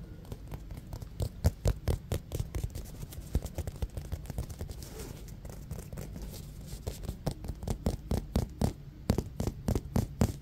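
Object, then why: Synthetic leather baseball. A solid, hand-sized navy blue synthetic leather baseball with white stitching is held in one hand and tapped and scratched with fingernails and fingertips. A rapid, uneven series of short, dry, low taps sounds over a soft, continuous scratching texture, with a brief stretch of mostly scratching in the middle. Each tap dies away almost instantly, leaving a quiet, close, muted patter.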